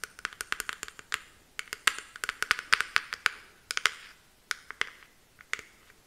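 Long nails tap and scratch on the hard, patterned plastic back of a small detangling hairbrush with a clear handle. Many quick, sharp clicks with a bright, dry edge come in uneven bursts, with faint scratchy texture between them and almost no low end.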